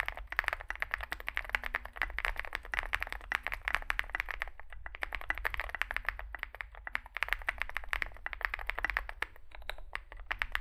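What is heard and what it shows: Fingertips type continuously on a small 65% Zoom65 mechanical keyboard with a dark case and white and grey plastic keycaps. A rapid, dense stream of short, bright clacks centers around mid-high pitch with almost no ring. A steady low hum runs underneath, and the typing briefly pauses near 4.7 and 7 seconds.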